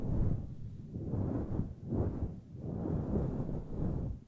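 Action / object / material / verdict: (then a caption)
scrape / synthetic fur microphone windscreen / synthetic fur / none. Long nails grip, scratch and rub the sides of a grey fluffy faux-fur (synthetic-fur) microphone windscreen. The result is a deep, muffled, rumbling swish that rises and falls in slow, uneven waves, with almost nothing in the high end.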